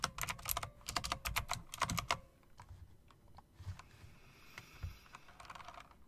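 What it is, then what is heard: Mechanical keyboard keys being tapped. Fingertips and long nails press and tap the keys of a typewriter-style mechanical keyboard with round plastic keycaps and metal rims. A quick run of sharp, bright clacks fills the first two seconds, then gives way to softer, sparser taps over a low background hiss.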